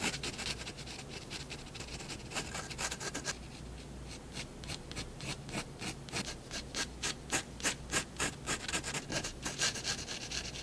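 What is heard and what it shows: A fineliner tip makes rapid, short hatching strokes on white drawing paper resting on a wooden desk. It gives a dry rubbing, scratching sound made of quick, bright bursts over a steady low hum. The strokes are softer and more continuous at first, then become louder and more distinct in the second half.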